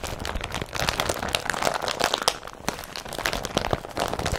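Hands grip, crinkle and rub the glossy, tarp-like body of an empty blue woven polypropylene IKEA BRATTBY carrier bag with their fingertips. The result is a steady stream of dry, crackling crinkles with bright, papery texture and quick snaps that die away instantly, rising and easing as the plastic is worked.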